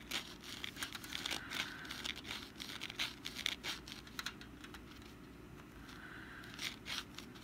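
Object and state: Papier-mache pumpkin decoration.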